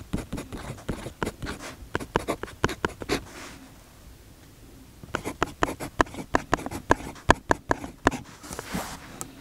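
A metal fountain pen nib writes steadily on the page of an open paper notebook on a desk, while fingertips rest on the notebook's fabric cover. Quick, light scratchy strokes come in two bursts separated by a pause of near silence. Each stroke is short and bright with no ring.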